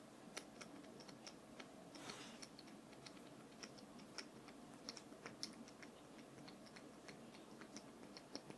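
A wooden brush is tapped in a quiet, steady series of light, quick taps, each a short dry click with a bright top and a soft woody body. The taps die away almost at once, with a brief soft swish of noise around the two-second mark.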